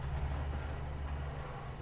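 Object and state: Nothing is struck.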